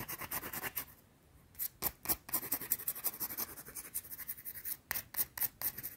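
Long blue-painted nails scratch quickly at a small, solid, round white soap bar held in both hands. The result is a rapid run of dry, bright scraping strokes, a brief near-silent pause, then more fast, crisp scratching.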